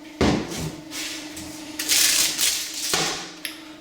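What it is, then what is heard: Fully seated wheel bearing. A hammer strikes a socket resting on the outer race of a new steel motorcycle wheel bearing, driving it into the wheel hub with sharp, bright metallic blows that ring briefly. The tone of the blows changes once the bearing bottoms out, showing it is fully seated.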